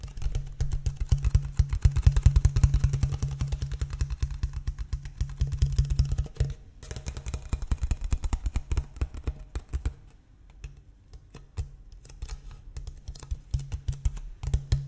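A large, clear, ridged empty PET water bottle with a blue cap is held in both hands while fingertips tap and crinkle its thin plastic walls. Rapid, irregular hollow taps and crackles come with a deep, boomy low thump, busy and loud at first, then thinning into sparser taps after about ten seconds.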